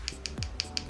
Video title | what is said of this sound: HOW TO DO NAILS: Form placement - sculpting stilettos - NO DRILL | if it makes that sound it's dry